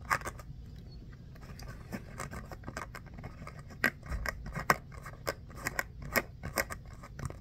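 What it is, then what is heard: Foam mini basketball scratched. Short fingernails scratch a small solid orange foam stress ball shaped like a mini basketball with a pebbled texture, held in both hands. Quick, dry, bright scratching strokes come in uneven bursts, each stopping almost at once, over a faint low rumble.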